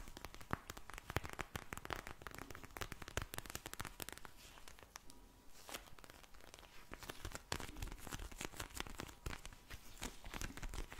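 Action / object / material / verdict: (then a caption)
scrape / vinyl eye mask filled with gel beads / vinyl plastic / none. A pink vinyl eye mask filled with gel beads is tapped and scratched with long blue nails, with some crinkly squishing of the plastic. Dense, quiet clicks, scratches and crinkles come in rapid bursts of bright crackle, easing off slightly midway before picking up again.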